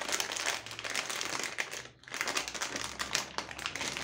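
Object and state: Crinkling foil bag of chocolates.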